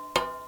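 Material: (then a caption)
Steel. An 1804 pattern Royal Navy boarding cutlass, with a steel blade, cast iron grip and sheet iron guard, is struck once and gives a short, bright metallic ring with a clear tone around 1 kHz that fades in under a fifth of a second. The clean ring shows the hilt construction is still tight and rock solid, not loose.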